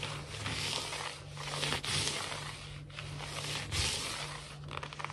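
Long natural fingernails of both hands quickly scratch and tap a large, solid, glossy wood-look laminate floor. The result is a continuous bright, hissy scraping with soft tapping accents, layered over a steady low hum.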